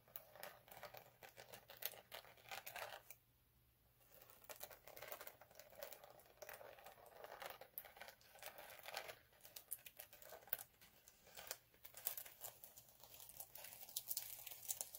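Fingertips with short nails scratch and rub across a large flat vinyl sheet covered in chunky multicolored glitter, lying on a dark cloth. The result is a quiet, dense stream of bright, crackly scratching with many quick gritty bursts. There is a brief lull around the three-to-four-second mark.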